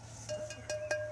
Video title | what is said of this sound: IJzertijdboerderij "De pottenbakker vertelt" | Prachtig mooie klank. En dan weet je ook dat hij heel is. Als hij zo mooi klinkt, dan is hij heel. Er zit er geen scheur in.